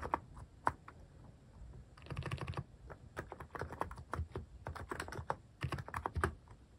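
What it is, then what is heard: Plastic mechanical keyboard. Fingertips type on a plastic mechanical keyboard fitted with cat-shaped plastic keycaps. The result is a steady run of short, crisp clacks with a low thock body and brief bright ticks, in uneven bursts and pauses.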